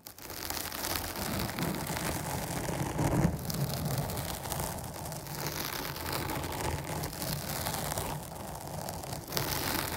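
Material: Foam.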